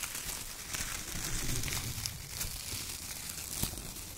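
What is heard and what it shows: Fingertips scratch and press a pile of thin brown shredded kraft paper strips, and hands crumple bunches of it. The result is a steady, dense crinkling and rustling with a bright, hissy top and soft low thumps from the pressing, with a few sharper crackles standing out.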